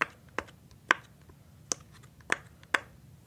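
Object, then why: Silicone pop-it sheet. Fingertips press and pop the thin hollow bubbles of a hand-sized rainbow silicone pop-it fidget sheet. Six short, dry pops ring out at uneven intervals over a quiet background, each a crisp snap centered in the upper mids with a bright edge that dies away almost instantly.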